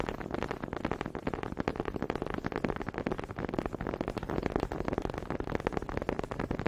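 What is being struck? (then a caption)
Two wooden honey dippers. Two small solid wooden honey dippers are tapped against each other close up, their grooved heads knocking together. A rapid, steady stream of short, dull, woody clicks continues throughout, each knock dying away almost at once.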